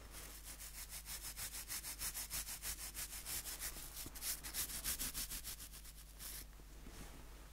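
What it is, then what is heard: Wooden nail brush with plastic bristles. Fingertips rub and scratch across the tips of the white plastic bristles on a small, solid wooden nail brush. The result is a fast, steady run of bright, crackly scratching strokes, about three per second, over a faint low hum. Near the end the strokes fade into a softer, airy hiss.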